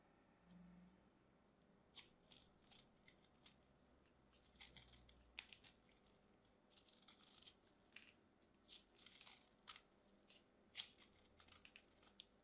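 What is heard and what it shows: A solid pink bar soap, held in hands with blue nails, is cut and carved with a small craft knife as crumbly pieces break off. Quiet, bright, crisp scraping and crackling bursts come in uneven clusters, with almost no low end and a faint steady background hiss between them.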